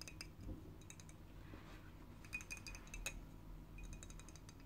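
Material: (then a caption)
Glass. A small, full glass bottle of grape juice with a metal lid and a label is held in the hands and scratched and tapped with long fingernails. Quick, bright, short clinks ringing around 2.5 kHz are heard in clusters, some mixed with soft scratching, over a steady low background rumble.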